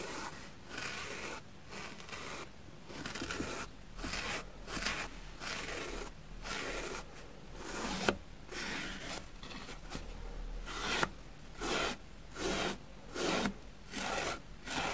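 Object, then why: Foam sponge block brushed with a plastic brush. A plastic spoolie brush is dragged across the dusty surface of a grey porous foam sponge block, which is turned over at the end. Soft, bristly scratching strokes repeat at an uneven pace, with a couple of sharp clicks midway, and the last few strokes are louder and brighter.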